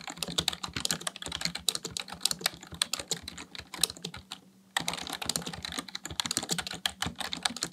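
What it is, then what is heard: Plastic computer keyboard. Fingertips type steadily on a full-size black plastic computer keyboard, producing a fast stream of short, bright, clacky keystrokes with almost no ring. The typing pauses briefly just before the five-second mark, then resumes at the same pace, with a faint low hum underneath.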